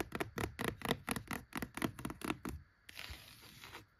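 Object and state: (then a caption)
Cloth-bound hardcover book, scratched. Long acrylic nails scratch across the worn cloth-over-board top cover and along the edge of a single old, thick, solid vintage hardcover book lying flat on a wooden shelf. A quick run of about a dozen short, bright scraping strokes is followed by a brief pause, then one longer, softer steady scrape before it fades out.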